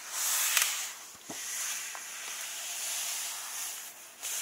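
Fingertips and nails rub and tap across the paper of an open hardcover book, moving over a glossy illustration page and a text page. The sound is a steady, bright, hissy scraping with a few soft ticks and taps mixed in, and almost nothing in the low end.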